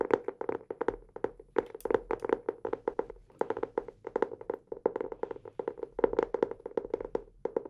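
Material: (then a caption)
Cardboard. A blue hardcover notebook is held upright in both hands while fingertips tap its cover in quick, irregular bursts of dozens of short, dry taps. Each tap gives a soft, hollow knock centered in the mid range with a little brightness on top, and it dies away almost instantly with no ring.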